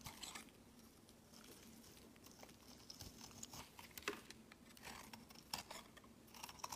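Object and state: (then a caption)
Bar of soap being shaved. A solid olive-green bar of soap, held in the hand, is shaved with a utility-knife blade, producing flaky shavings. Quiet, crisp scraping and crackling cuts come in short bursts with bright, papery texture over a faint steady low hum.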